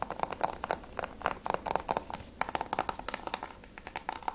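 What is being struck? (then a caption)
Plastic game case. Fingertips and nails rapidly tap the front cover of a hollow Grand Theft Auto V PS3 plastic game case with a clear sleeve. The result is a quick, irregular series of dry, hollow clicks centred around 880 Hz, with bright edges and no ring after each tap.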